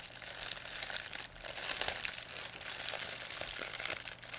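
A thin white plastic pharmacy bag with red and blue print, crumpled into a ball, is crinkled and squeezed in both hands by fingers with long painted nails. The result is a steady, dense, bright crackling with almost no low end, dipping briefly around 1.3 seconds and near 4.2 seconds before the crinkling picks up again.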